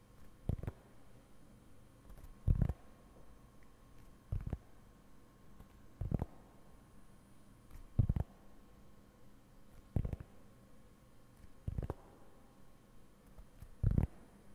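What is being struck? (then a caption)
Round cork board. Fingertips slowly scratch and rub the textured surface of a round, flat, solid cork board held close up. Eight short, dull, low-pitched scraping bursts come at roughly two-second intervals, each dying away almost at once. A faint, steady background hiss fills the gaps between them.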